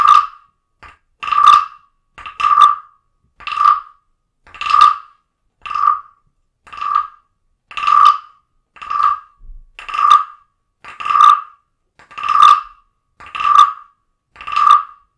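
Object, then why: Carved wooden frog guiro scraped with a stick. A wooden stick scrapes and strikes the ridged back of a small, hollow, carved wooden frog guiro held on a blue book. It makes a steady series of short, rasping croaks, each with a hollow wooden ring around 1.2 kHz, about one per second with brief silences between. Some croaks are followed by softer, quicker taps.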